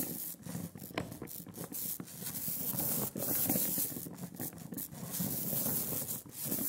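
A rubber brayer is rolled by hand over a velvety black layer of sticky printing ink on a glass slab. It makes a continuous tacky, crackling hiss with a bright, fizzy top, rising and falling in repeated rolling strokes with short dips between passes.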